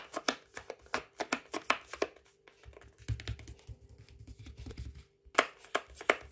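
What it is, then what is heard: Plastic rice pouch, tapped and scratched. Fingertips and nails tap and scratch a palm-sized Waitrose ready-to-heat rice pouch of flexible plastic foil, filled with rice and lying flat on a towel. Quick, sharp, bright taps come in bursts, with a softer stretch of low rustling scratches and some crinkling in the middle, over a faint steady hum.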